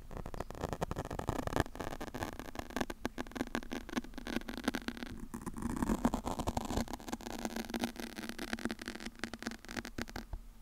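A large black foam microphone windscreen is scratched with long nails and fingertips while one hand cups its side. The result is a dense, continuous stream of close, muffled scratching and rustling with many small scrapes, low rumble and a brief quieter dip near the middle.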